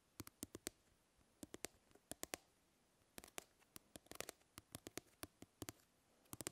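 Long nails scratch and tick across the grid of a plastic mesh fly swatter, making about two dozen sharp, dry clicks in uneven bursts. Each click is bright and crisp and stops almost instantly, with near-silence between them.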